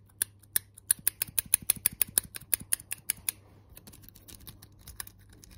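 A small gold-coloured metal hair claw clip with toothed jaws is held in the hands, tapped with nails and snapped open and shut. About sixteen sharp, bright metallic clicks come in quick succession over the first three seconds. They are followed by fainter, rapid ticking and scratching that fades toward the end.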